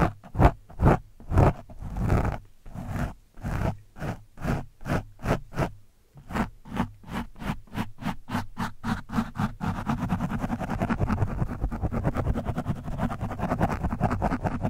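The thin steel shaft of a screwdriver scratches and pokes an orange foam windscreen on a microphone, soft and porous. Distinct, rhythmic, low-heavy scratching strokes with a muffled rasp come in steady bursts for about ten seconds. They then speed up into a dense, continuous rough scratching to the end.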